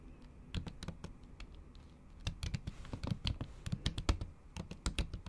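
Long acrylic nails tap the keys of a MacBook keyboard covered by a thin pink plastic/silicone cover while typing. Quick, dry clicks come in irregular bursts, sparse at first and then denser, each sharp tap with a bright edge over a soft, low-weighted thud.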